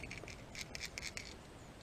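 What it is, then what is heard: Crankbait lure with rattle beads inside. An olive green plastic crankbait fishing lure with rattle beads inside is shaken so the beads make noise meant to attract fish. It produces a quick series of bright, clicking rattles, concentrated in the upper frequencies, over a faint background.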